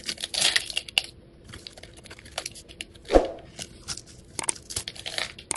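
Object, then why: Bar of soap cut with a metal blade. A metal utility knife blade scrapes across a hand-held, hand-sized solid rectangular green soap bar, shaving thin curls and small cubes off its surface. The result is a quiet run of bright, dry scratching and crisp crunchy shaves, with one louder, sharper cut about midway.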